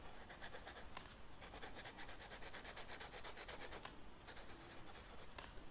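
The felt tip of a pink marker rubs across a flat black velvet-flocked paper coloring sheet while coloring a rose. Quiet, steady back-and-forth scratchy strokes produce a soft, bright hiss with a faint low rumble underneath. The strokes briefly thin out around the four-second mark before picking up again.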